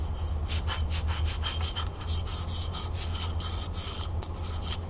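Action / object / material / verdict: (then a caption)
scrape / frosted glass candle holder / glass / none. Long nails rub and scratch the surface of a hollow frosted glass candle holder held in the hands. Quick, bright, raspy strokes repeat in a steady rhythm over a constant low hum.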